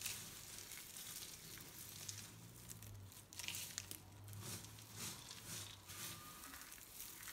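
A pile of dry pink, white and green soap shavings on a table is crumbled between fingertips and pressed with flat hands. It makes soft, bright, dry crinkling and crunching rustles that swell and fade in quick bursts, over a faint low hum.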